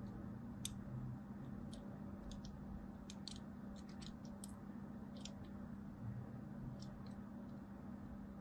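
A thin blade scores lines into a solid striped soap bar held in the hand. Short, bright scratching ticks sound irregularly over a quiet, steady low hum.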